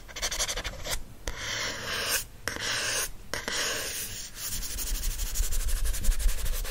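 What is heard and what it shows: Fingernails scratch across the glossy card back cover of a teal paperback book, including the barcode area, as it lies back cover up. Dry, bright scratching comes in rapid strokes, broken by a few brief pauses early on. Toward the end it turns into a denser, slightly louder rubbing with a low rumble underneath.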